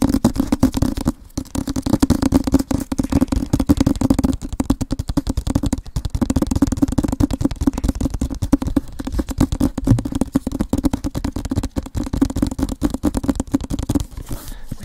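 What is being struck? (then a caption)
Rigid cardboard box. Fingertips and nails rapidly tap and scratch the sides of a hand-sized, rigid cardboard Avatar book box set held in both hands in front of a microphone. A dense, fast run of dull, hollow taps with short scrapes between them carries through the clip, with brief gaps near 1 second and 14 seconds. Each tap dies away almost at once, leaving a muffled, low-mid knocking with little high end.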